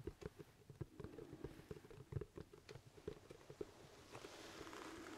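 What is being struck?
Leather top hat.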